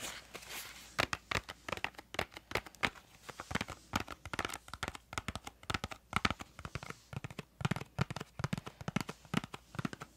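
Long nails tap the face and edges of a small printed cardboard crayon box held close to the mic. Quick, dry clicks and light crinkly taps come in irregular bursts for about ten seconds, with some hollow low thumps and bright papery edges. Each tap dies almost instantly.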